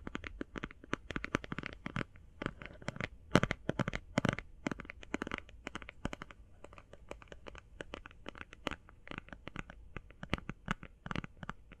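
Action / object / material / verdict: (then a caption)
tap / plastic eye shadow palette / plastic / none. Fast binaural tapping on an eye shadow palette, producing a dense stream of short, dry clicks and taps that die away almost instantly. The taps come in quick bursts with no speech.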